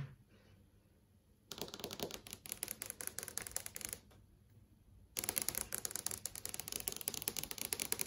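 Long yellow acrylic nails tap rapidly on a large TV screen (plastic/glass panel) showing search results. Two bursts of quick, dry, bright clicking taps are separated by a short quiet pause. The taps end instantly with no ring.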